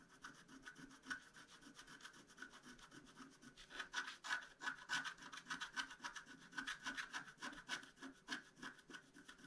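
A wooden stylus scrapes across a flat black-coated scratch-art card in quick, uneven strokes. The short, dry scratches have a bright, papery rasp with a steady midrange tone, and they grow louder and denser partway through. The sound stays thin and quiet, with almost no low end.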